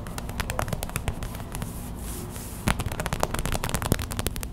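Long white acrylic nails tap fast on a small clear plastic hot/cold pack filled with white gel beads, lying on a towel. The result is a dense run of crisp, crackly plastic clicks with a low, soft thud underneath. The tapping eases to a quieter patter midway, then returns sharper and louder toward the end.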